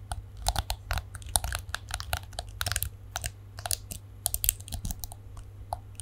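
Long nails scratch and flick the black plastic bristles of a palm-sized plastic detangling hairbrush with a chrome-look back, held in both hands close to the mic. The result is a fast, irregular stream of crisp, bright ticks and crackles with no ring, over a steady low hum.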